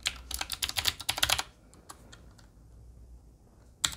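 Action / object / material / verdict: tap / mechanical keyboard with metal frame and round plastic keycaps / metal, plastic / none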